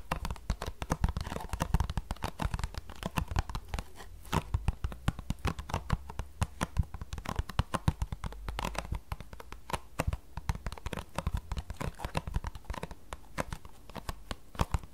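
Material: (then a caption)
Cardboard. Long fingernails rapidly tap and scratch the front face of a small, closed green paperboard tea box, hollow with tea bags inside. The result is a dense, continuous stream of dry, papery clicks and scratches over a low, hollow thump, with each hit dying out almost instantly.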